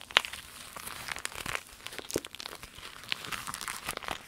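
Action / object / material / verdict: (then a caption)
scrape / clear vinyl zip bag / vinyl / none. A long, empty, flexible clear vinyl zip pencil bag printed with lemons is scratched with long nails, then rolled and squeezed in the hands. It gives a dense, bright crinkling with sharp, crisp crackles scattered throughout and almost no low end.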